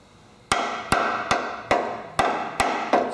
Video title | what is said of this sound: Project CJ5 - Frame Repair (Part 4) | you hear here it's pretty solid